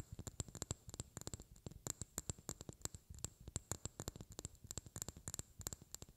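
A small, clear, hollow glass vial that looks empty is held in both hands and tapped with long painted fingernails. Quick, light clicks with a bright glassy ring come in irregular bursts, some harder and some softer. Each tap fades almost instantly over a soft low thump.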